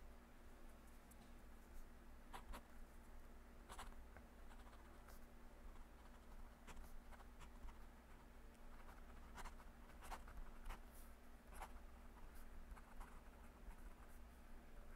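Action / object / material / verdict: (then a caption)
scrape / paper legal pad under a metal pen nib / paper / none. A metal fountain pen nib scratches across a flat, thin yellow lined legal pad lying on a desk as a hand writes, with a clip-on microphone resting on the page. Soft, dry scratches and brief bright ticks come and go over a steady low hum.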